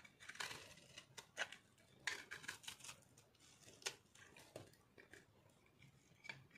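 A metal blade shaves crunchy flakes off the top of a solid, round, pink-and-orange speckled dried soap ball held in the palm. Quiet, dry, bright scraping crunches come in irregular bursts, each cutting off quickly with almost no ring or low end.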